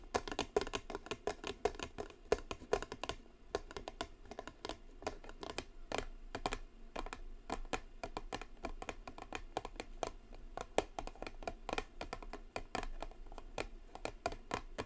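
Long blue nails tap and scratch the top and sides of a small gold metallic-foil Michael Kors cardboard perfume box resting on a table. A rapid, continuous stream of light, dry clicks and short scratches runs throughout with almost no ring, their quick sharp ticks reaching up into the bright range.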